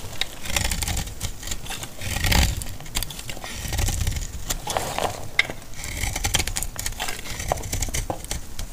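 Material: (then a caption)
Soap. A solid bar of dry yellow laundry soap is held in the hand and cut into crumbly flakes with a metal utility blade. The cutting makes a steady run of short, dry scraping and crackling sounds with bright crisp edges over a low, muffled rumble.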